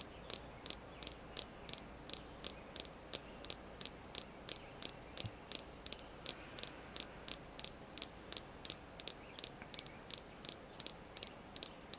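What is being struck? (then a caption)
Red jasper stone. A red jasper crystal stone is tapped repeatedly, giving 36 short, dry, high-pitched clicks at a steady, fairly even pace over about twelve seconds. Each tap is bright and sharp, with almost no ring, over a faint low background hiss.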